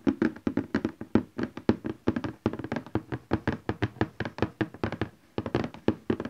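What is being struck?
Cardboard printer box.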